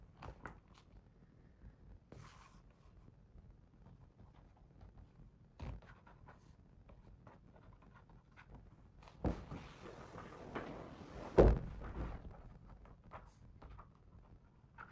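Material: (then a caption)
Paper. A fingertip traces the text on a paper page of a hardcover picture book, making faint, soft rustling scrapes. A page is then turned with a louder, brief papery swish and flutter before the quiet tracing sounds return.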